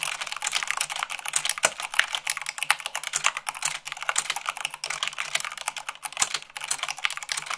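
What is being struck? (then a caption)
Plastic mechanical keyboard. Fingertips with long nails type fast, at about 98 words per minute, on white plastic keycaps of a black plastic mechanical keyboard. A rapid, steady clatter of short, dry, bright clicks fills the clip with almost no low end, each click dying away at once.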